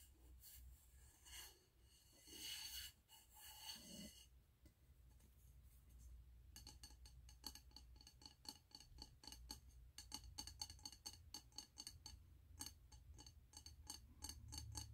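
A medium frosted glass candle jar with a snowman print and a gold metal lid, full of solid white wax, is held upright in both hands while fingernails tap and scratch its glass side walls. Soft scratching and rubbing in the first few seconds give way to quick, bright tapping clicks with very short ring, over a low steady hum.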